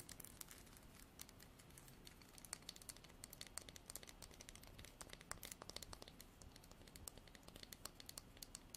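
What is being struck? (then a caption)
Wooden comb. Long nails strum the fine teeth of a light wooden comb with a natural edge. The result is a quiet, dense run of dry, bright clicks and crackles, with sharper snaps standing out over a steady soft rustle.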